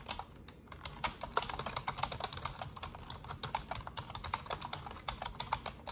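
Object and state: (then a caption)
Plastic computer keyboard. Fingertips with long orange nails type fast on an Asus desktop keyboard with black plastic keycaps and a silver frame. A rapid, uneven stream of short, bright plastic clicks and clacks rises over a quiet, low background murmur, each keystroke dying away almost at once.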